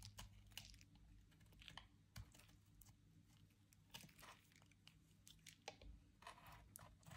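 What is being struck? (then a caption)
Bar soap cut with a metal blade. A metal utility knife blade carves and scrapes the surface of a soft, dry white bar soap held in the hand. Quiet, crisp crunching and scratching strokes come in quick succession over a steady low hum.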